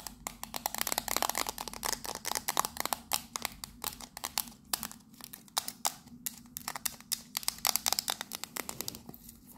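A small, hollow octagonal printed tin tea caddy (Fortnum & Mason, turquoise and purple) is held in both hands while long nails rapidly tap and scratch its sides. Dense, bright metallic clicks and scraping crackle come in quick, uneven bursts with almost no ring or low end.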